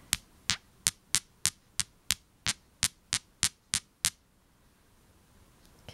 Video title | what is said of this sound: Clear Quartz: Real or Fake? | real minerals are brought together you can hear a certain vibration